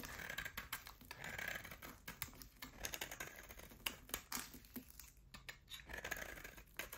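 A utility knife blade shaves chunks off a solid oval bar of hard soap with a black coating and a pale yellow core, held in the hand. Quiet, crisp scraping strokes and dense little clicks and crackles repeat throughout, with a bright, hissy edge to each cut.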